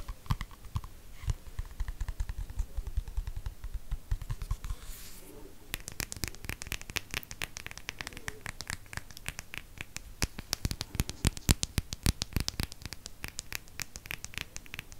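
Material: Cardboard.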